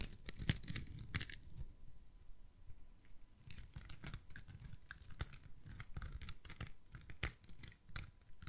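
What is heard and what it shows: Fingernails scratch and rub the surface of a foam kitchen sponge with a scouring pad side, held near the mic. Quick dry rasps and crinkly scrapes repeat in irregular bursts, each with a bright crackling edge over a soft, low rubbing body. The scratches die away almost instantly, with quieter rustling between them.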